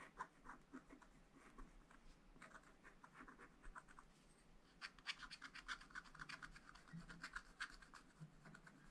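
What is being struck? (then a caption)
Coated scratch-art paper sheet scratched with a wooden stylus. A wooden stylus scratches lines into the black coating of a scratch-art paper page in a spiral pad. Quiet, dry scratching strokes come in short, irregular bursts with a bright, papery hiss. They grow denser and sharper in the second half.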